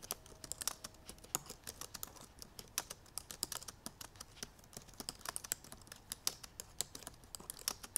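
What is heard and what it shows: Long purple nails and fingertips type quickly on the black plastic keys of a silver aluminum MacBook Pro. A rapid, steady stream of sharp, bright clicks and taps comes through, each dying out almost at once, with almost no low end.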